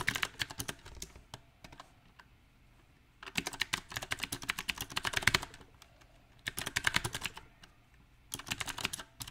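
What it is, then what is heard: Mechanical keyboard with round plastic keycaps. Fingertips of both hands type on a small 68-key backlit mechanical keyboard with round typewriter-style plastic keycaps set on a silver metal plate. Bright, sharp clicks come in irregular bursts of fast typing separated by quieter pauses, each keystroke dying away almost instantly.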